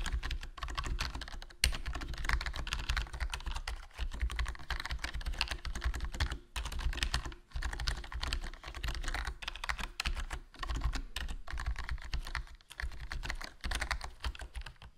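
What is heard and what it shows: Fingertips type continuously on a HyperX Alloy Core RGB plastic membrane gaming keyboard with a foam mod, black plastic body, black plastic keycaps and a hollow case. A steady, rapid stream of soft, muted key clacks with a low thud comes in bursts, with brief pauses between runs of typing.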